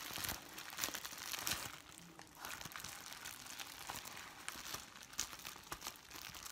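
A white, translucent sheet of thin, flexible plastic bubble wrap is held in both hands and crumpled and squeezed with the fingers. The result is a continuous, bright crinkling, with sharp crackles and snaps scattered throughout and very little low end.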